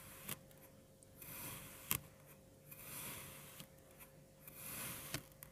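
A long bread knife's serrated edge cuts and scrapes through a solid, crumbly mound of yellow-green kinetic sand with a waffle-pressed center. Soft, bright, hissing scrapes swell and fade in slow strokes, with sharp short ticks and crunches between them. A faint steady tone hums underneath.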